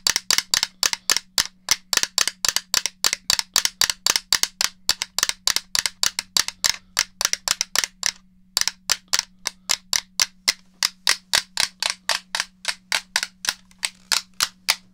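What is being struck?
Plastic game controller shell.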